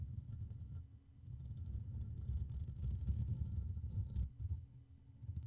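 Fingers of both hands cup, rub and tap the hollow black metal mesh grille of a Blue Yeti microphone with short nails and fingertips. The result is a dense, muffled low rumble of brushing and soft thumps, with almost no high-end detail and a few faint brighter scratches.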